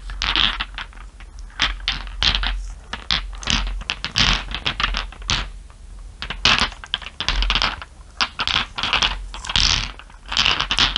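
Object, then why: Small glass marbles. Fingertips and nails rub and tap small solid glass marbles resting on fur, making a rapid, uneven run of sharp, bright clicks and ticks. Soft scratchy rubbing fills the gaps between them, and each click fades quickly.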